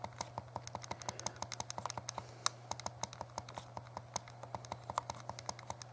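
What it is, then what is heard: Plastic handheld game console buttons. Thumbs rapidly press and tap the plastic buttons of a small, hollow, translucent purple plastic Game Boy Color held in both hands while a game plays. A quick run of about 46 short, dry plastic clicks is heard over a steady low hum.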